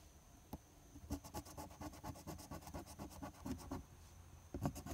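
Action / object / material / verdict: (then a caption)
scrape / paper scratch-off ticket scraped with a coin / paper / none. A silver coin vigorously scratches the latex coating on a flat paper lottery scratch-off ticket, number 025. It starts with a single sharp scrape, then a dense run of rapid, irregular strokes. Each stroke is a short, bright, rasping burst over a low rumble.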